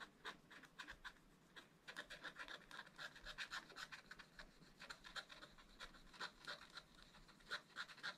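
A wooden stylus scratches the black coating off a bird's wing on a scratch-art page in a spiral-bound book. Quick, dry, irregular scratching strokes, about four per second, give a bright raspy hiss with little low end. Each stroke stops short, with no ring.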